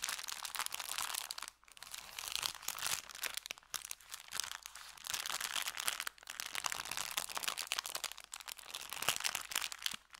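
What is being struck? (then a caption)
Kraft paper bag. An empty brown kraft paper bakery bag is bent and crinkled in the hands, then rubbed on felt. Dense, bright crinkling and crunchy crackles run nearly continuously, with brief pauses around 1.6 and 6.1 seconds and almost no low end.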